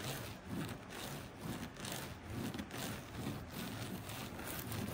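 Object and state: Woven fabric placemat.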